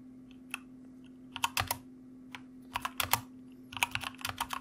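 Fingertips of both hands type on a white mechanical computer keyboard with plastic keycaps, producing about 16 sharp, bright clacks in uneven bursts with short pauses between them. Each click dies away almost instantly over a faint, steady low hum.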